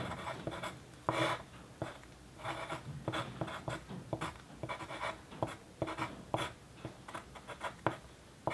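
A pencil's graphite tip writes on a flat white paper sheet lying on a dark desk. It makes a quick run of dry, scratchy strokes in short bursts of hiss that reach into the high range, with brief quiet gaps between them. The sheet is steadily marked with writing.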